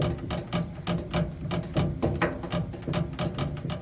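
A loose copper refrigerant pipe inside an air conditioner's condensing unit, with the breaker switched off, is knocked at the spot where it rattles, giving about 16 quick, dull metallic taps with a low tone near 170 Hz and short decays. The pipe is faulty: when the unit vibrates from the fan, it collides with the adjacent part and a wire strikes the pipe, leaving abrasion marks.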